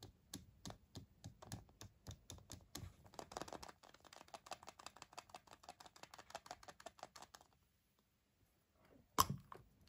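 A small, hollow, unwrapped milk chocolate Kinder Surprise egg is held in both hands and tapped with the fingertips and nails along its seam, giving a long run of quick, dry, clicky taps that turn softer and denser midway. After a short silence, the egg is pressed until the shell starts to split, ending in one sharp, bright crack.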